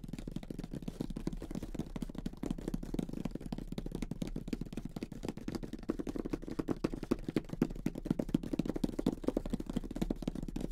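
Fingertips with short nails on both hands tap rapidly across the lid of a closed grey cardboard Monopoly box with the game inside. The result is a steady, irregular stream of soft, dull, hollow taps, low and muffled with almost no brightness, each dying away instantly.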